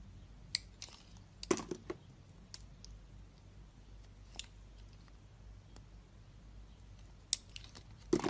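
A utility knife blade shaves thin slices off a solid, hand-sized orange and yellow striped bar of Duru soap held in the hand. Scattered sharp, bright, crisp scraping crunches stop dead with no ring. Quiet pauses fall between them, with a cluster of cuts near the start and another near the end.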